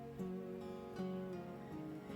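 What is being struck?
Nothing is struck.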